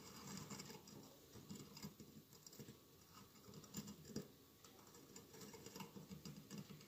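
Fingernails scratch and rub across the tiles of a hollow glass mosaic votive candle holder with a lit candle inside. The result is a quiet, continuous patter of dry scratches and light ticks with brief brighter clicks, low in level throughout.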